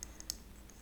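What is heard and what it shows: Light, sharp clicking taps on the plastic lid of a frosted pink glass body serum bottle (Maylee Resolve Age-Defying Body Serum); the lid looks like metal but is plastic. About four quick, bright clicks are heard over a faint low hum.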